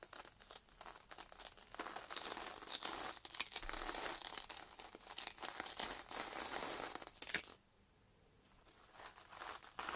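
A yellow foam kitchen sponge with a green scouring pad is held by hand and scrubbed back and forth across a sheet of sandpaper. It makes a dense, bright, scratchy rasp with crinkly grit in the high range. The scrubbing runs steadily, stops for about a second near the end into near silence, then picks up again.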